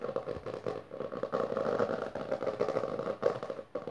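Fingertips and long nails of both hands rapidly tap and scratch the textured maroon cover of a closed, solid hardcover book resting on purple fabric. The result is a dense, continuous crackle of dry scrapes and clicks centered in the mid-range around 480 Hz, with almost no bass, little top end, and each sound dying out almost instantly.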